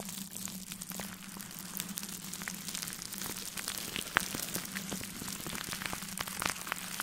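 A gloved hand rubs a large makeup brush back and forth across clear plastic cling film wrapped over a metal mesh microphone grille. The result is a steady, bright, crackly rustle with dense tiny pops and a few sharper snaps.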